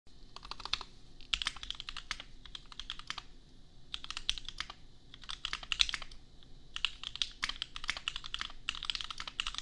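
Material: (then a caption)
Plastic. A custom $250 60% mechanical keyboard with Gateron Milky Yellow switches and red and white plastic keycaps, resting on an anime desk mat, is typed on with the bare fingertips of both hands. Bursts of quick, bright, clacky keystrokes come in runs separated by short pauses, each stroke dying away almost instantly.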